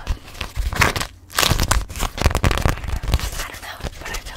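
A thin, flexible beeswax-coated cloth food wrap with a grey hexagon pattern, held in both hands, is gripped, crinkled and tapped with long manicured nails and fingertips. Quick, dense crinkling and crackling bursts with a low, papery thump and bright edges fill the clip, broken by a brief quiet gap just after the first second.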